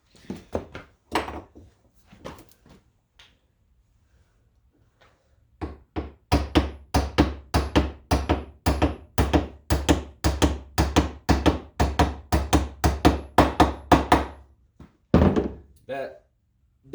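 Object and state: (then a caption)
Steel roller stud fully seated (bottomed out). A steel roller stud is hammered into a sliding door center roller bracket on the anvil side of a vise during a center roller replacement on a 2005 Odyssey. Light taps give way to a steady run of dull, short thunks after a brief pause. The dull sound shows the stud has bottomed out against the inner part and is fully seated.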